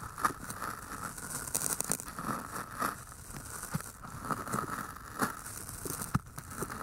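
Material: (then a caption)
Floral foam. Long painted nails scratch down the sides of two identical pale green floral foam cylinders, solid porous foam with microphones inside. The result is a steady crinkly, crackling scrape with soft rustling and occasional sharper ticks, each dying away almost at once.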